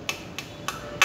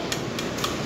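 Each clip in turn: First: Four quick, high, dry ticks with almost no ring: a flicked aluminum bike frame sounding dull, much like carbon. Second: Four quick, light flicks on a carbon bike frame, each a brief tick near 1 kHz that dies almost at once.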